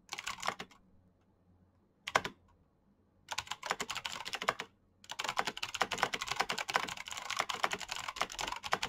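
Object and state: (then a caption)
Plastic mechanical keyboard. Fingertips of both hands type on a black plastic backlit mechanical keyboard with clicky switches. Bursts of sharp, bright clicks come with short pauses between them, then build into a steady, fast stream of typing through the end. Each click is dry and stops almost at once.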